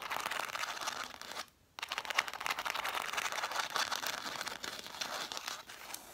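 Long black nails tap and scratch quickly on a stack of red cloth-bound hardcover books with their spines facing out. The result is a dense, dry stream of rapid crisp ticks and scraping rustles, mostly in the upper-mid and bright range, with a brief silent pause early on before the patter resumes.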